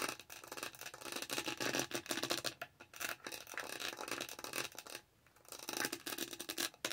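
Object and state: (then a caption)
Textured plastic tumbler lid. Long nails repeatedly scratch the dotted texture of a lavender plastic tumbler lid held close to the mic. The sound is bright, crackly scratching in dense bursts, with almost no low end. There are brief pauses near 2.7 seconds and a longer quiet gap around 5 seconds.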